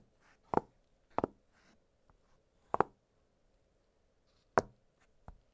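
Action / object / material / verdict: tap / silicone pop-it fidget toy / silicone / none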